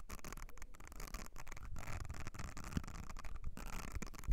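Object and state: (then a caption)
Silicone makeup brush cleansing mat. Long nails scratch across the nubbed area of a thin, flat, blue silicone makeup brush cleansing mat, which also has ridged surfaces. The result is a quiet, continuous, low, muffled scratching and rubbing with soft bumps. A slightly sharper knock comes near the end.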